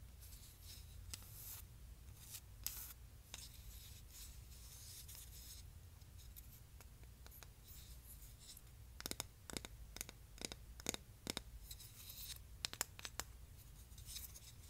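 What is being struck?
Wooden hexagonal canister lid.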